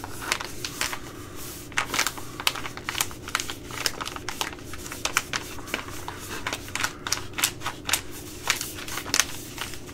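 A small, flexible, sealed Uncle Ben's Ready Rice plastic pouch that appears full of rice is held in the hands and tapped and scratched with long glittery acrylic nails. It makes a steady run of sharp, bright, clicky taps and crinkly scratching that die away almost instantly, over a faint low background hum.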